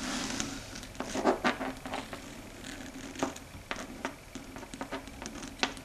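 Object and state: Chalkboard tapped and scratched with long nails.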